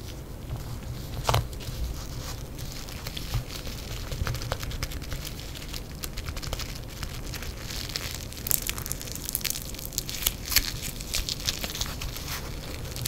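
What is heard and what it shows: A yellow lump of crackling foam bead clay, soft and solid, rests on a printed table mat and is squeezed, pressed and pulled apart by fingers in black nitrile gloves. It makes a steady stream of dense, fine crackling and crunching pops over a low background rumble, with sharper, brighter snaps standing out near the middle and toward the end.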